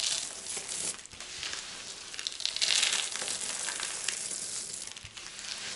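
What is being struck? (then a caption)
Pile of soap shavings. Both hands with painted fingernails scoop up a large loose pile of small, dry, brittle multicolored soap chips on a white surface, squeezing and crushing them between the fingers and letting them fall. The result is a steady, bright crackling and crunching rustle with almost no low end, swelling and thinning as the chips are rubbed and dropped.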